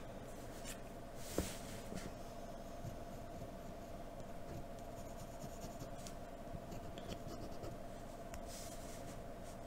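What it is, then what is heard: Pencil drawing on paper. A hand sketches facial details on a sheet of white drawing paper with a graphite pencil in a blue holder, lightly scratching the surface. Quiet, continuous soft scratching runs over a steady low hum, with one brief sharper tick near the start and faint bright rasps at times.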